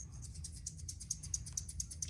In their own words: So these are seed beads.